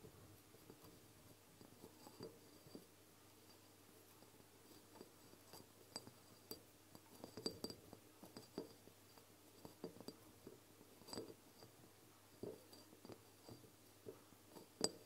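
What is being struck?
Glass dropper bottle with liquid.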